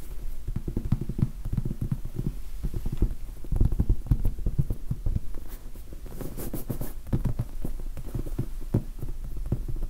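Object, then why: Foam sponge die. A large red foam sponge die with black pips, soft and solid, is tapped and scratched with the fingertips close to the mic. Dull, deep thuds come in a steady patter of soft, short taps mixed with faint scratching, with almost no brightness and no ring after each touch.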